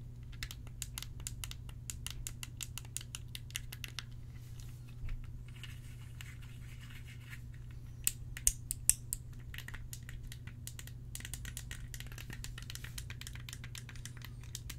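A small, solid black and red plastic fidget cube is held in both hands close to the microphone while fingertips and thumbs click, roll and flick its buttons and controls. Dense runs of quick, dry, bright clicks play over a steady low hum. A few louder snaps stand out around the middle, and there are brief softer rolling stretches between bursts of clicking.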